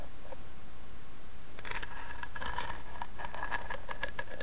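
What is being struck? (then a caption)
Small carved wooden box. Long painted nails tap and scratch the carved lid of a small hollow carved wooden box with a bone-like inlay, resting on a bedspread. After a quiet start, soft, clicky taps and scratchy strokes arrive in quick irregular clusters, each with a hollow, woody mid-range ring and crisp, bright edges. A steady low rumble sits underneath throughout.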